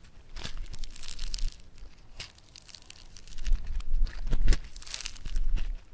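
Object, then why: Foam-bead modelling clay. Yellow foam-bead clay (floam) is squeezed and torn apart by fingers, then pressed onto a table. Bursts of bright, crisp crackling and crinkling come in uneven waves over a faint low rumble, with quieter pauses between them.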